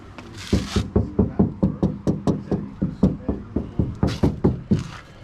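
Someone knocks 19 times on a steel body panel of a 1969 Ford Torino fastback, in a steady run of short, dull, low knocks that die away quickly. The panel sounds solid, with no sign of rust bubbles.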